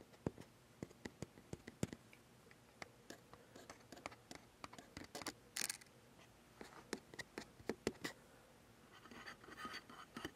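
Fingertips scratch and tap the top plate, sides and bracket of a metal Sony A7s mirrorless camera body with a lens, mounted on a tripod. Quiet, sharp clicking taps come in an irregular series, with a brief bright scrape in the middle and softer rustling scratches at the end. Each tap dies away almost instantly.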